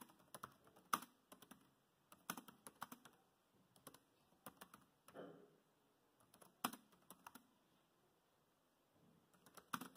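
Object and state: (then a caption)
Plastic laptop keyboard. Fingertips type on a dark grey plastic laptop keyboard, producing quiet, dry, clicky key taps in quick bursts separated by short pauses. The taps are crisp and bright with almost no low end, and each dies away almost instantly. One softer, slightly longer stroke lands near the middle of the clip.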